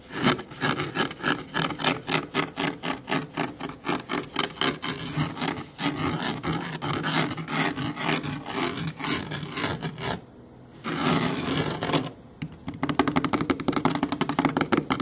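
Fingernails scratch along the textured fabric and foam edge of a black child booster car seat with an orange label. The result is a rapid series of dry, raspy strokes with bright hiss and a low body, easing briefly into a softer rub near the end before quicker, sharper strokes resume.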